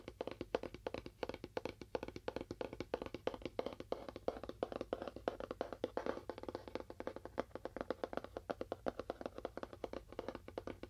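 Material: Cardboard.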